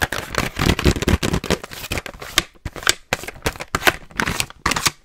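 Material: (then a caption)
Plastic. Long nails tap and scratch aggressively on a hollow pink BIC razor blister package made of plastic with razors inside. A fast, dense run of crackly plastic clicks and scrapes fills the first half, then gives way to separate short bursts with brief silences between them. Each sound is bright and dry and stops almost instantly.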